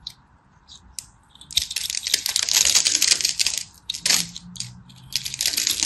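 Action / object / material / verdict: scrape / bar of soap / soap / none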